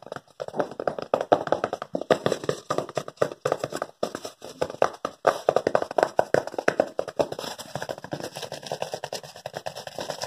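Fingertips rapidly rub and tap a thin white paper sheet while it is handled close to the microphone. The result is a dense run of dry, crinkly taps and scratches that centre around 700 Hz, with each one ending almost instantly.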